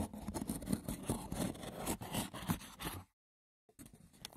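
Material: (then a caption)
Wicker. Fingertips and short nails rapidly scratch and tap the top of a small, hollow, rectangular woven wicker box with a lid, making a dense, dry, crackly rasp with soft low knocks mixed in. The scratching stops for about half a second of silence, then starts again more quietly.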